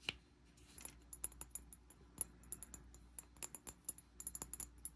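Fingertips and nails tap the side of a medium amber glass bottle with a dark cap and sticky label residue, held in both hands. A rapid, uneven series of quiet, short, bright clicks and taps is heard, each with a faint high glassy ping that dies almost instantly over a soft low hum.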